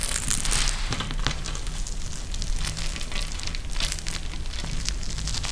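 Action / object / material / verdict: scrape / plastic gel bead eye mask with fabric trim / plastic, gel / none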